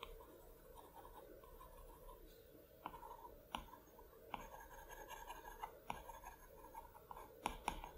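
A hand draws short brush strokes with the hard plastic tip of an Apple Pencil across the flat, solid glass screen of a large iPad Pro lying flat on a plaid cloth. Soft, continuous scratching with a mid-range hiss is broken by sharp, bright taps where the tip meets the glass. The taps grow more frequent toward the end.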